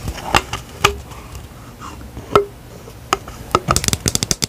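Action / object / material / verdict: tap / plastic skincare pump bottle / plastic / none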